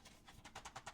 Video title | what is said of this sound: Midnite Movie Series - The Fun Factor | the way I find the doubles is I shake it. And I see you can hear the tab that's in here